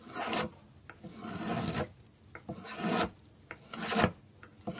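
A dark metal carving blade scrapes and cuts thin shavings from the top edge of a small, solid orange bar of dry soap held in the fingers. Four drawn-out, dry rasping strokes swell and fade, with short, sharp clicks in the quiet gaps between them.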